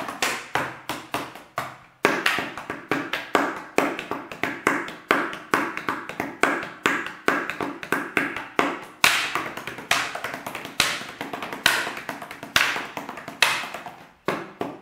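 A large, clear, hollow plastic water bottle, apparently empty, is held sideways and tapped with the fingertips. Dozens of quick, hollow taps come in uneven bursts, each with a bright, papery click near 2.3 kHz and almost no low end. Each tap dies away within about a quarter second.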